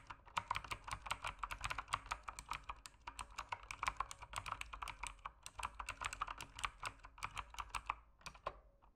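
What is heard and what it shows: Fingertips type steadily on an RGB-lit plastic mechanical keyboard with plastic keycaps. The clip is made of rapid, crisp, bright clicks that decay almost instantly, with short pauses between bursts. The typing tapers off near the end.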